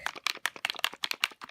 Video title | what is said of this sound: Glass Pen Demo | it's got a shaker ball in it you can hear that when I was shaking it